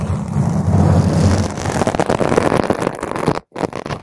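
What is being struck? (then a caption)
Foam microphone windscreen. Long pointed green acrylic nails scratch a purple spherical foam cover on a microphone, first with the hands cupping the sides and then with the nails raking across the top. The result is a loud, dense, rumbling scratch, heavy in the low end, with rapid irregular rustling. The sound cuts out briefly near the end before resuming.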